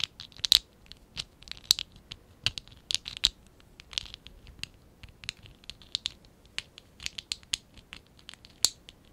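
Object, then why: Stack of small ABS plastic toy bricks. Fingertips and nails scratch and rub a small, hollow stack of blue and pink ABS plastic Lego bricks from the Lego Classic 11017 set, held in both hands. About two dozen short, dry, bright scratches and clicks come in irregular bursts, with almost no low end and no ring after each one.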